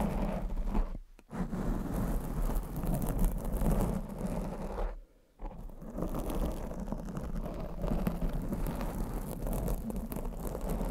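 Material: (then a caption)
Foam. Long acrylic nails scratch and tap on a black foam windscreen covering a condenser microphone, making a dense, muffled, low rumbling rustle. Two brief near-silent pauses interrupt the steady scratching, around one second and five seconds in.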